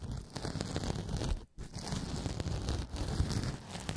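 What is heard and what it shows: A pink porous synthetic kitchen sponge is bent and squeezed by the fingertips of both hands close to the microphone, producing continuous crinkly, crackling scrunching that is heavy in the low end. The texture drops out briefly around the midpoint, then resumes steadily to the end.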